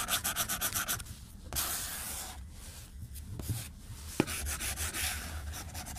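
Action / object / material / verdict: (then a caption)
scrape / plastic stylus on glass tablet screen / glass / none. A white plastic stylus tip scribbles fast across a glass tablet screen resting on a desk, rubbing and scratching. Quick, rhythmic bright strokes open and close the clip, with a longer, smoother rubbing stretch in between. A single sharp tick stands out near the end.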